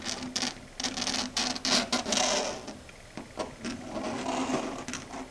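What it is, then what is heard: Chalkboard scratched and tapped with long nails. Long red stiletto nails, fingers curled into a claw, scratch and tap across a flat dark grey chalkboard surface. Bright, gritty scrapes come in uneven bursts with a faint tonal whine near 240 Hz underneath, separated by quieter taps and pauses.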